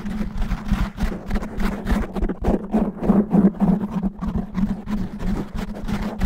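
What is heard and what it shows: Fingernails scratch fast and roughly over the top and sides of a black foam microphone windscreen. The result is a dense run of muffled, bassy scraping strokes, about three per second, over a steady low hum.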